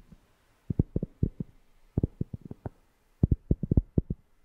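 A cork object is tapped close to a FIFINE K690 microphone, giving soft, deep, bassy thumps in three quick bursts. Each tap is short and dry, with almost no ring, and sits mostly in the low end with no bright content.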